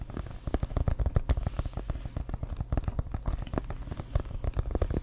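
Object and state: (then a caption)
Leather American football. Fingernails tap and scratch the surface of an inflated, hollow leather American football. The result is a dense run of quick, dull taps with a deep, hollow low-end thump. Each tap dies away almost at once, with only a faint scratchy texture on top.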